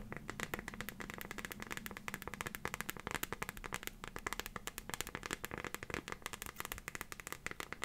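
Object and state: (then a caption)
Plastic phone case tapped with fingernails. Long fingernails tap rapidly on the back of a transparent plastic phone case filled with pink and green liquid glitter, fitted on a phone. Dense, crisp clicks sound continuously with very short decay over a low background hum.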